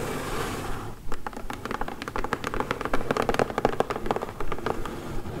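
Long acrylic nails tap and scratch the sides of a closed, medium brown corrugated cardboard mailer box lying flat while hands hold it. A soft scratchy rustle in the first second gives way to a rapid, uneven series of sharp, dry clicking taps mixed with scraping.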